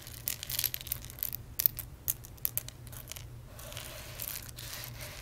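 Fingertips and medium nails rake, rub and scratch through a loose pile of small, hard, dry whole roasted coffee beans spread on a dark surface. Bright, crisp clicking and crackling comes in quick bursts over the first three seconds, then settles into a softer, steady scratchy rustle over a faint low hum.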